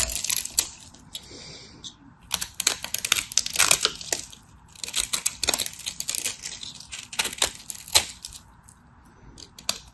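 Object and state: Dry bar soap being cut.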